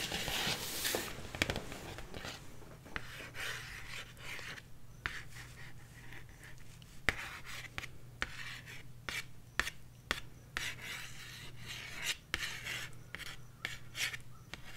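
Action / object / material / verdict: tap / cardboard LP record sleeve / cardboard / none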